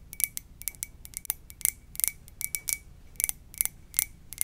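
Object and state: Ceramic mug.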